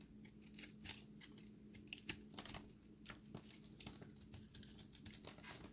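A solid recycled soap ball with a pink core and a chip crust is scraped with a utility-knife blade, and its dry crust crumbles away. Quiet, bright, crisp scratches and crumbly crackles come in quick, uneven bursts over a faint, steady low hum.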